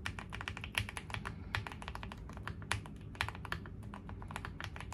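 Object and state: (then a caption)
Mechanical keyboard with plastic keycaps. Steady, fast typing with both hands' fingertips on a QwertyKeys QK75, a foam-filled 75% custom mechanical keyboard with a dark green case and gray plastic keycaps. Each press is a quick, crisp clack with a bright top and a short, muted low body that dies away almost at once. A few harder strokes pop out over a continuous low rumble.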